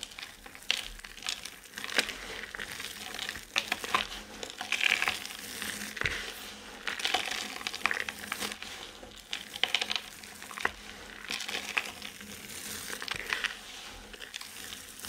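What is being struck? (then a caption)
Pile of soap chips and shavings. Hands with painted nails scoop, crush and rub a heap of dry, crumbly multicolored soap chips and shavings on a flat surface, letting them fall. Dense, bright crackling and crinkling fills the clip, with sharp clicks and short rustling bursts rising and falling throughout.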